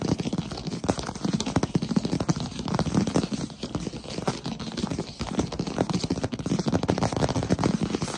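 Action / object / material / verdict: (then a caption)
tap / wooden plank floor / wood / none. Fingertips and short nails tap fast and close-up on a solid wood-look plank floor. The result is a dense, continuous stream of quick, dry taps with almost no ring. The sound is warm and low-heavy, centred around 200 Hz, with little brightness.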